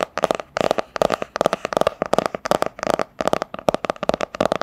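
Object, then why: Hardcover book, cardboard cover. A medium, solid hardcover book with a printed cardboard cover is held upright and tapped with long nails on its front cover. Quick, irregular bursts of light, dry clicking taps come in clustered rolls separated by brief pauses, with a hollow mid-range knock around 600 Hz and no ringing after each tap.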